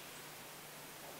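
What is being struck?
Nothing is struck.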